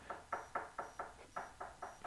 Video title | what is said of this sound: How To Build a Coffee Table | you can hear that it's really firmly adhered to it you know there's no Hollow sound no tinging